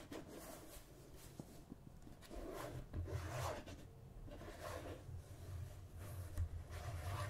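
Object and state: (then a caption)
Plastic margarine tub. Fingertips and nails rub and scratch the lid and rim of a red and cream plastic margarine tub held on a table. The result is a quiet, continuous scratchy rubbing with a soft low rumble underneath and faint brighter rasps that swell and fade in irregular waves.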